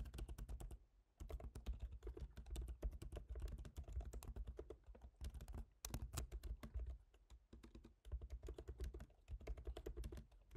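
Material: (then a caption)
Plastic. Fingertips type on the black plastic keys of a silver MacBook Pro's aluminium laptop keyboard. Rapid, soft, dry taps and clicks with a low thump and almost no ring-out continue in bursts, with brief pauses near the start, middle and later in the clip.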